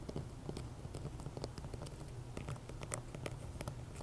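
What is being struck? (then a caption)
Rock-salt candle holder. Fingertips and short nails tap and scratch the rough crystalline sides of a large, solid pink Himalayan rock-salt candle holder with a hollow top for a tealight, sitting on a ring of loose coffee beans, before both hands grip it. The result is a quiet, steady run of short, dry clicks and scrapes that stop almost instantly, over a low, dull undertone.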